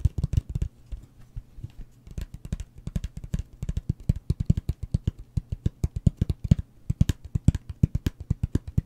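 A closed, hollow cardboard gift box with a wood-grain print is held in the hand and tapped and scratched with fingertips and nails. It gives a fast, steady run of short, dull, hollow knocks that are mostly low in pitch. Each knock stops almost at once with no ring.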